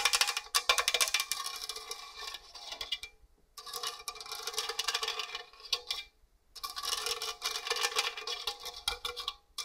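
Long orange nails scratch and tap the fine raised points on the grating face of a hollow stainless steel box grater. The result is bright, dense rasping and ticking with a faint metallic tone near 2.4 kHz, played in three bursts separated by brief pauses.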